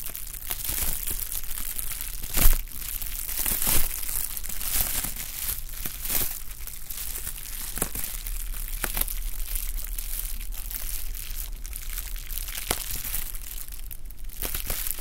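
A sheet of clear plastic bubble wrap is held in both hands, crinkled and squeezed with the fingers. It makes a steady, dense crinkling with irregular sharp crackles and snaps, the loudest bursts coming early in the clip. Bright, papery hiss fills the top end over a faint low hum.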